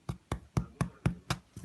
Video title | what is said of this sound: Wild Franko's no knead cranberry almond bread | If it sounds hollow, that means it's ready to go.